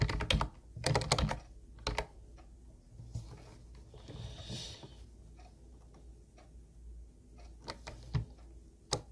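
Both hands type with their fingertips on a teal, hollow Ubotie plastic keyboard with round white plastic keys. Bursts of sharp, clacky key taps with bright, hollow clicks come at the start and again near the end. A quieter stretch of soft tapping and a steady low hum sits between them.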